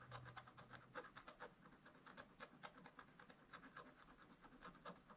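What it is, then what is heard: Scratch-art paper being scratched. A pointed wooden stylus scratches and rubs across a black-coated scratch-art page in a spiral book lying flat on a table. It makes a quiet, rapid series of dry, raspy strokes with bright, hissy edges, and a faint low hum sits underneath at the start.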